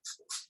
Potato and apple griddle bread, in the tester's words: when I tap it it's kind of a hollow sound of it